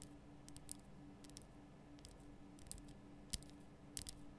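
Long nails tap the sides of a large, lit pink Himalayan rock-salt lamp, a solid rough crystal block. Short, bright clicks come at an irregular pace over a steady low hum, each tap dying away almost at once.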